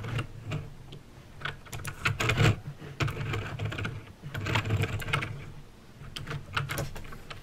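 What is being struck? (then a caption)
Plastic mechanical keyboard. Fingertips type slowly on a backlit mechanical keyboard with plastic keycaps and clicky green switches. The result is a steady stream of sharp, short clicks and clacks with bright tops, over a constant low hum near 100 Hz.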